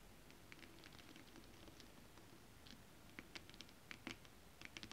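Long acrylic nails tap and scratch holographic mermaid scale fabric, a flat iridescent foil scale-print stretch fabric. Quiet, crisp, bright ticks and light scratchy patter sound over a low steady hiss, growing sharper and more spaced toward the end.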